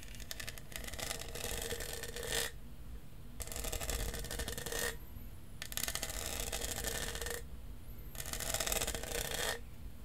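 Fingernails scratch and tap across the studded surface of a hollow lavender plastic tumbler with a straw. The result is four bursts of dense, bright scratching, each with a faint hollow tone near 500 Hz, separated by short quiet gaps over a low background rumble.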